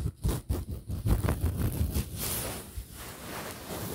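A soft stuffed pillow with a printed fabric cover, held close in front of the microphone, is scratched and rubbed with fingertips and nails. Quick, uneven bursts of dull, low fabric scratching fill the first two seconds, then settle into a steadier, softer rubbing rustle with a faint bright hiss.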